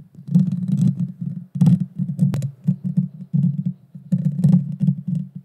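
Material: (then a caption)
Metal mesh. Long dark fingernails scratch the small hollow round metal mesh grille of a Blue Yeti Nano microphone. The result is a dense series of low, thumping, rumbly scrapes in bursts, with faint bright crackle on top.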